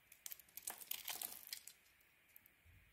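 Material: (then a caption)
Soap. A utility knife blade carves a white bar of soap with a blue coating, making quiet, crisp scraping and crinkling sounds that are mostly high and bright. A burst of quick, dry cuts through the first half gives way to faint, sparse scrapes.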